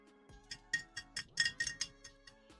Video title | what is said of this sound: The RatRig V-Core 4 IDEX - Printing Double the Filament, Half the Cost | yes, it sounds like metal